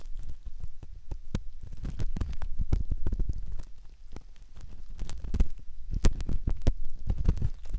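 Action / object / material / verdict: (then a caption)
scrape / silicone ear model scratched with a metal ear pick / silicone / none. A metal ear pick scratches at the canal entrance of a soft silicone ear model, heard up close. It makes irregular, muffled rubbing and scraping strokes with a deep, boomy low end and short, sharp clicks that flick up into bright highs.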